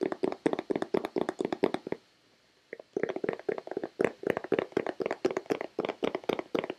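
Long red-painted nails and fingertips tap rapidly on a hollow white plastic Nivea lotion bottle, giving about 36 short, dry clicks with a hollow tone around 410 Hz and bright nail ticks. The tapping pauses briefly near the two-second mark, then resumes at the same quick, steady pace.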